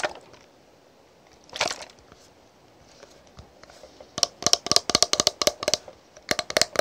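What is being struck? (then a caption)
Plastic cosmetic bottle with cap. Long pink nails tap and scratch a tall translucent green plastic "Green Tea" toner bottle, partly filled with liquid, along its body and green plastic cap. A few soft scratchy brushes and one louder scrape come first. Then a quick run of sharp, bright, clicky plastic taps follows, each dying away almost instantly with no low-end body.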